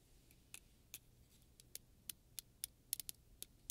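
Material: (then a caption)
Plastic. A solid blue plastic afro pick comb with long, wide-spaced teeth is held in one hand while fingertips and long nails pluck and strum along the teeth. Eleven quiet, bright, dry ticks come at uneven intervals, each cutting off at once with no ring over a faint low background hum.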